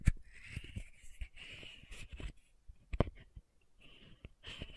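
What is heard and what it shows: Fingernails tap and scratch the metallic cap and upper part of a small pink plastic sunscreen bottle held upright. Quiet, dull taps with short, dry clicks mix with raspy scratching strokes that carry a bright, hissy band.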